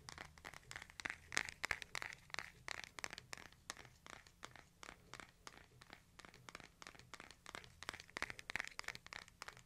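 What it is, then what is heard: Smartphone tapped with fingernails. A hand-sized smartphone with a glass screen and a case is held horizontally in both hands while fingertips and nails tap the case and edges. About 44 quick, irregular, dry clicks and taps with no ringing, bright and centered around 1.8 kHz, sit over a faint low hum.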